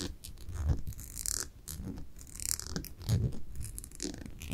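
Long nails scratch along the white label and glass surface of a small amber glass cosmetic jar held up close. The result is a series of dry, bright scratching bursts with airy hiss, over soft low rumbles and thumps.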